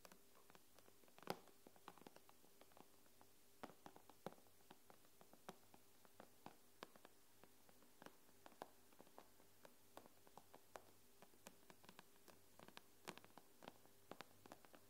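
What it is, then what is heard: Glass tablet screen tapped with long nails. Long acrylic-style nails on both hands tap quickly on the glass screen of an iPad lying flat, screen up. Dozens of short, sharp clicks sound at uneven spacing, each dying away almost instantly. A faint steady low tone sits underneath.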